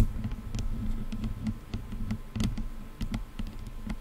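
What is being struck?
Plastic headphone headband.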